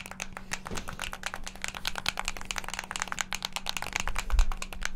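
Fingertips rapidly press the face buttons and sticks of a hand-sized, hollow, black plastic Xbox controller. A dense, fast stream of short, bright plastic clicks and clacks plays over a faint, steady low hum. The clicking grows slightly louder toward the end.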